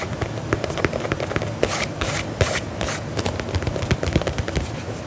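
Fingernails scratch the upper of a black faux leather lace-up combat boot held upright, making a dense run of short, dry scratches and clicks. A few brighter, hissier scraping bursts rise in the middle before the quick scratching resumes, each sound dying away almost at once.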